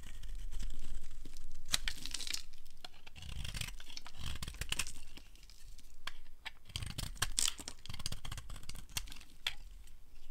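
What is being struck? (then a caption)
Soap bar cut with a metal blade. A metal blade shaves and carves a solid, dry, pale yellow rectangular soap bar held in the hand, sending flakes falling. The result is an irregular series of dry, crisp scrapes and crackling, tearing-like strokes with bright, sharp edges over a soft low rumble.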